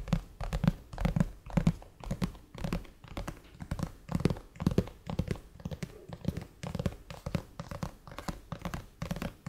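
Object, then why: Glass tablet screen. Fingertips of both hands tap and drum on the black glass screen of a flat, solid iPad lying on a table. The taps are soft, dull, low thuds with almost no ring, coming in irregular flurries at a quick, uneven pace.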